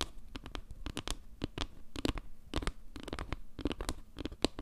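Long nails scratch and tap the surface of a round, solid wooden log-slice trivet carved with maple leaves. The result is a quick, uneven run of dry clicks and scrapes, each with a soft low thump beneath it and no ring. A faint steady hum runs underneath.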